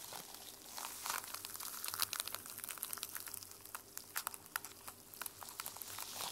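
Nails and fingertips scratch across the teal plastic sequin cover of a sequin-covered journal held upright. A quiet, bright, crinkly rasp runs throughout, dotted with many sharp, dry ticks as the sequins click and flip. There is almost no low end beneath the scratching.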